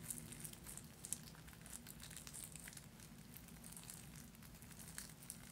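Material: Fabric.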